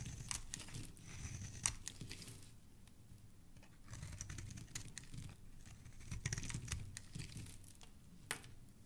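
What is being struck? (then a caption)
Bar of soap. A solid pink rounded soap bar held in the hand is scraped and carved with a black blade into curls and flakes. Soft, dry crinkly scraping runs throughout, with sharp bright clicks and ticks as the blade cuts and pieces break away.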